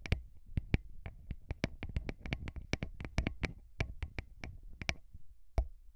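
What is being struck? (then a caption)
Small metal microphone capsules tapped with fingernails and fingertips. Short fingernails and fingertips of both hands tap rapidly on two small metal-bodied microphone capsules mounted on a handheld recorder. The result is a quick, uneven series of sharp, bright clicks over a deep, close thump, with each tap dying away almost instantly.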